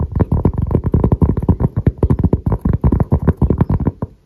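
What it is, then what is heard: Cork coaster. Fingertips and nails scratch and tap the grainy surface of a round, thin, solid cork coaster held close in both hands. A rapid, uneven run of short, dull, low thuds carries very little brightness, and each tap dies away almost instantly.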